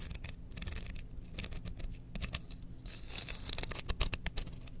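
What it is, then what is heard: Wooden spoon handle. Long painted nails scratch along the length of a long, thin, solid wooden spoon handle with pyrography designs, held horizontally in both hands. The result is a quick, uneven run of bright, dry scratching clicks and rasps over a steady low rumble.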